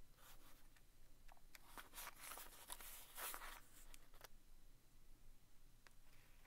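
A small vintage green cardboard box of Commander staples, hollow and presumably full, is held in one hand while the tip of a wooden stick taps and traces across its front face, then its worn side. Quiet, dry scratching strokes mix with light, bright taps that die away quickly over a low background hush.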